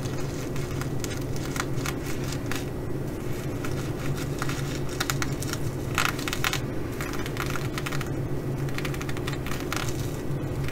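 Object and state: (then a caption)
Sequin fabric bag. Long glitter nails scratch across a flat fabric bag covered in reversible blue plastic sequins, flipping the sequins back and forth. A steady run of bright, crackly clicks and rustles sits over a constant low hum.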